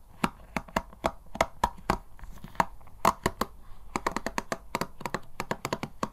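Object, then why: Plastic paddle hair brush. Fingertips scratch and flick the plastic bristles of a black plastic paddle hair brush lying flat, and one hand sweeps quickly across them. The result is a rapid, irregular string of short, dry, bright clicks and ticks with no ring, over a faint scratchy rustle.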